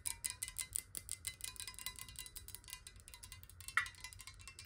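Long nails tap rapidly on a clear square glass water bottle filled with water and held in the hands. The result is a quick, quiet patter of bright, clicky taps with very short ringing, with a louder tap near the end that leaves a brief glassy tone around 1.9 kHz.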